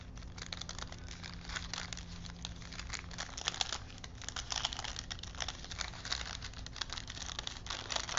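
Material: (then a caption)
Paper. Fingertips roll a thin printed paper film strip held between wooden spools, crinkling the paper. A steady stream of soft, bright crinkles and crackles runs throughout, with brief louder rustles over a faint low hum.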